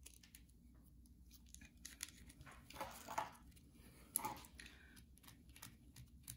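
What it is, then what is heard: Bar soap. Long nails scratch and tap the faceted surface of a solid white bar of soap held in the hand, its red layer carved away and shavings lying on the table. Soft, dry scraping and crisp clicking taps come at an irregular pace, with brief brighter bursts of scratching over a low, steady background hum.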